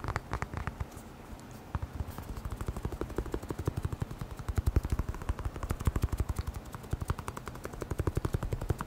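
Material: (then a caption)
Rubber. A hand-sized, hollow black rubber air blower bulb is held near the microphone and tapped quickly with the fingertips. The result is a rapid, uneven run of low, dull thumps with almost no high-frequency content. The taps die away almost instantly and grow denser and steadier after the first couple of seconds.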